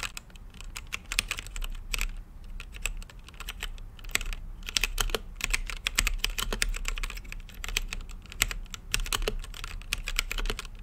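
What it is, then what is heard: Mechanical keyboard with plastic keycaps. Fingertips type steadily on a mechanical keyboard with plastic keycaps and a clear, translucent acrylic case. The rapid, uneven key presses make short, bright clicks and clacks with almost no ring, over a faint low hum, and the typing continues throughout with brief pauses.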